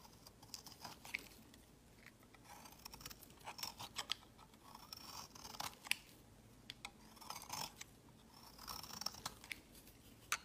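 A metal box-cutter blade scrapes and shaves curls off the edge of a round, solid, palm-sized purple bar of soap held in the fingers. Quiet, dry, crisp scratching and crackling comes in bright, high bursts of short strokes with brief pauses between.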